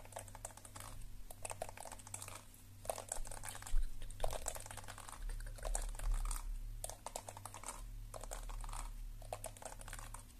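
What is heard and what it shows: Long nails tap rapidly on the back of the hollow shell of a lilac plastic detangling hairbrush held close. The result is a stream of short, dry, bright clicks in irregular clusters with brief pauses, over a steady low hum.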